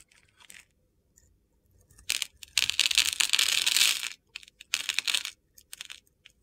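A utility-knife blade scrapes a hand-sized, solid mint-green soap bar held in the hand, cutting it into gritty cubes. Bright, crisp scraping and crunching come in irregular bursts, with a longer, louder continuous scrape in the middle. The sound is dry and gritty with almost no low end and no ringing.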